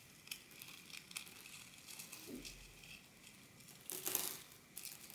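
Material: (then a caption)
Quartz. Fingertips dig into and rake through small rounded quartz pebbles and gravel in a rectangular glass baking dish, rubbing the stones together. Quiet, bright, crisp clicks and crunching rattles are heard, with a louder grinding surge near the four-second mark before settling back to soft ticking.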